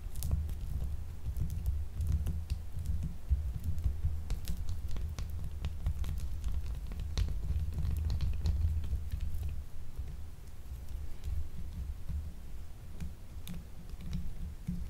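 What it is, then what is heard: Glycerin soap bar. A small, solid, purple marbled glycerin gemstone soap bar, unwrapped and held in hand, is scratched and tapped with long acrylic nails. The sound is a quiet, steady run of dry scratching and clicking taps over a dull low rumble, with sharp bright ticks scattered throughout.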